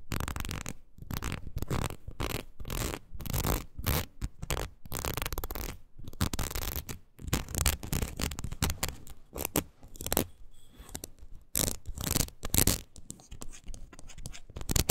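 Long nails scratch along the ridged surface of a red rubber wood-graining rocker tool with a wooden handle. Quick, repeated rasping strokes come in dense bursts with brief gaps, carrying a strong low rumble beneath a bright, crackly texture.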